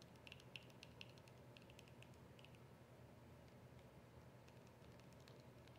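Long acrylic nails tap and scratch a small, hollow white plastic squeeze tube of cream with a rolled end. Quick, bright clicks and faint scratching sit over a steady low rumble, with the taps densest early and thinning out later. Each click dies away almost at once, with a sharp tone around 2.7 kHz.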